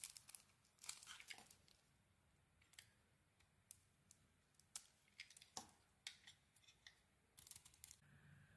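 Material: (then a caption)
Soap. A small metal blade cuts curls off a solid brown soap bar with an embossed logo, held in one hand, revealing white soap inside. Short, crisp scraping and shaving bursts come in irregular clusters, bright and high with little low end, over a quiet background. Each cut stops almost at once with no ring.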